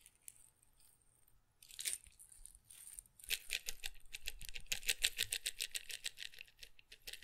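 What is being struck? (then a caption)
Glass pepper grinder with peppercorns. A small glass pepper grinder jar with a red and black plastic cap, partly filled with peppercorns, is held beside the mic and shaken by hand. After a few faint ticks, the peppercorns rattle in a soft burst, then break into rapid, bright clicking rattles against the glass. The rattling continues unevenly to the end of the clip.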